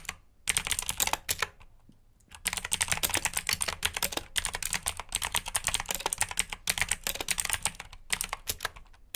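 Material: Plastic.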